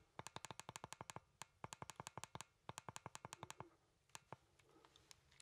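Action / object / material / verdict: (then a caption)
tap / plastic game controller / plastic / none. A hollow plastic Nintendo Joy-Con controller, with the Joy-Cons attached to a grip, is held in both hands while its buttons are pressed and its casing is tapped with fingertips. Sharp, dry plastic clicks and taps come in quick bursts, with each one ending almost instantly. After a pause, a few sparser, quieter taps and faint handling noise close the clip.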